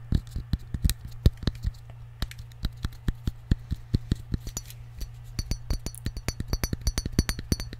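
Fingertips and nails tap a small glass jar with a cork lid, partly filled with peppercorns, in a quick, uneven series of short, dry clicks. The clicks have bright, glassy edges that die away almost at once over a steady low hum, with sharper, higher ticks toward the end.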